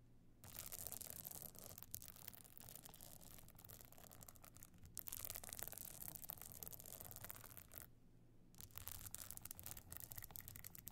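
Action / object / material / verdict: scrape / evening clutch covered in stone chips / stone chips / none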